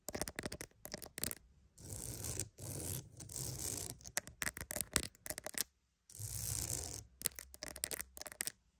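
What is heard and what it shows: A wooden mat is tapped and scratched. Quick clusters of dry, bright taps alternate with longer rough scratching passages, each sound stopping almost instantly with no ring.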